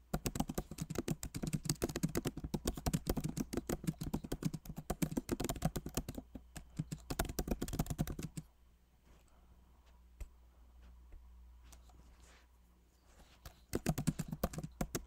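Both hands type with fingertips on a backlit MacBook Pro Magic Keyboard with plastic keycaps in an aluminum body. Dense, rapid key taps with a dull low-mid thump run for about eight seconds, then fall to a quiet hum with a few stray clicks, before fast typing resumes near the end.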